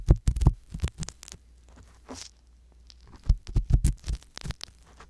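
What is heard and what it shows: A wooden-handled metal ear pick scratches slowly inside the canal of a soft silicone ear mounted on a hollow white binaural microphone body. Irregular bursts of close, muffled thumping and scraping are heard, deep and boomy with only faint bright rustle, separated by near-silent pauses over a steady low hum.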